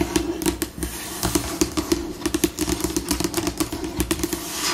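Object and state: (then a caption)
Laminated tabletop tapped with fingernails. Long pink nail tips tap and scratch a glossy white laminated solid tabletop, with fingers scurrying quickly across the surface. Rapid, short clicky taps with a hollow mid tone near 330 Hz mix with bright scratching hiss. The pace shifts between slower and faster bursts.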